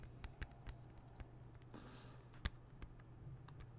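A closed, small and hollow hard plastic CD jewel case is held flat and tapped with fingernails, giving about nine quiet, sharp clicks spaced irregularly, with one louder tap near the middle. Each tap is a dry tick that dies away almost instantly over a steady low hum.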